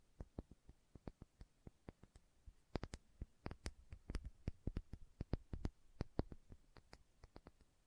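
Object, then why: Small filled glass bottle with plastic cap. Long nails tap and click on the glass body and label of a small, filled glass condiment bottle with a red plastic cap. About thirty quiet, sharp clicks land at an uneven pace, each dying away almost at once. They carry a soft low thump beneath a thin, bright tick.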